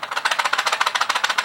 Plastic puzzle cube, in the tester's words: you can hear how rattly it is